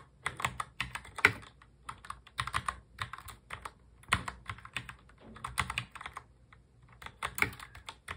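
Both hands type continuously on a full-size black mechanical keyboard with plastic keycaps, fingertips tapping the keys. The result is a steady stream of crisp, bright clicks and clacks with very short decay and little low end, in an uneven rhythm with brief pauses between bursts.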